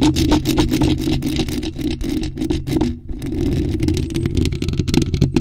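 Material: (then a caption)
Metal mesh. Long acrylic nails rapidly scratch and tap a bare, hollow black metal mesh microphone grille with no cover. A dense, uneven stream of scratchy clicks and taps rides over a boomy low rumble, with a brief quieter lull around the three-second mark.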